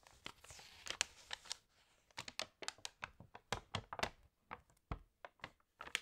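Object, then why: Glossy paper magazine. Long nails scratch and fingertips turn and crinkle the pages of an open, water-damaged glossy paper fashion magazine. A bright, rasping scratch runs under the first second and a half, then a brief pause gives way to a rapid series of sharp, dry crackles and snaps. Each crackle cuts off almost instantly with no ring.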